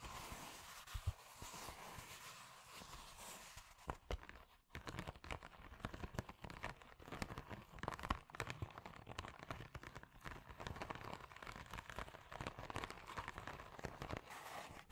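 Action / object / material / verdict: scrape / padded plastic mailer envelope / plastic / none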